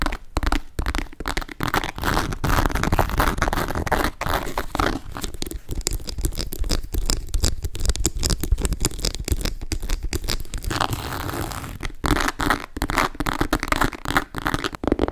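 A grey leather and leopard calf-hair shoulder bag with a metal MK ring sounds hollow as it is tapped and scratched with long nails. Dense, rapid tapping and rough scratching run almost continuously, with a low thumping body under crinkly, scraping textures and a few brief pauses.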